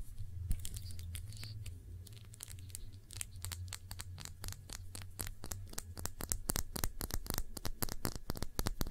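Long nails tap and scratch a small glass perfume bottle held between both hands, with the fingers partly covering it. Sharp, bright clicks and scratchy strokes sit over a steady low hum. The taps grow quicker and louder toward the end.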